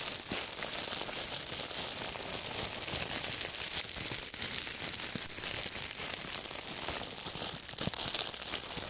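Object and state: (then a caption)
Thin plastic bag being crumpled. A small, thin clear plastic bag is held in both hands and crumpled and squeezed by the fingers. It makes a steady, dense, bright crinkling and crackling for the whole clip, with almost no low end.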